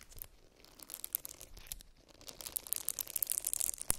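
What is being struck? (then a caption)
Silicone facial cleansing brush. Long nails scratch a small round silicone facial cleansing brush as it is turned over to show the back and then the bristle side, scratching both the bristles and the back. Quiet, crisp, bright scratching and crackling starts sparse, then grows busier and louder in the second half, with a sharp tap near the end.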